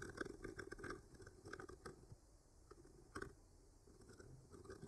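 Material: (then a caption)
Wood. A thin bamboo skewer with a clipped-on mic traces and scratches lightly along the painted branch lines of a flat, solid wooden art panel. The sound is a quiet, dry, crackly scraping with a low-mid body, broken by small brighter ticks and crunchy bursts. The strokes fade softer through the middle before picking up again at the end.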